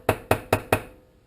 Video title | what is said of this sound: 1947 Farmall M Episode 8: Carburetor Rebuild Pt. 2 | that is a lot higher tone of tap